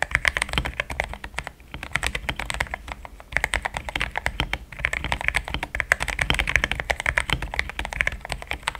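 Fingertips type quickly on a compact, pink-cased mechanical keyboard fitted with thick cream XDA-profile plastic keycaps, built solid. The result is a dense run of short, crisp keystroke clacks that die away almost instantly, with a soft low thud under the brighter tap of each key. The typing continues at a quick pace throughout, with a few brief pauses along the way.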